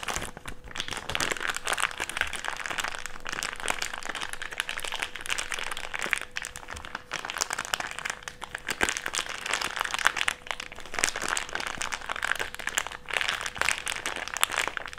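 A crumpled wad of an empty, thick, clear plastic bag is rolled and squeezed between the palms. The result is a steady, dense crinkling and crackling that stays bright, with many sharp, crisp crunches throughout and little low end.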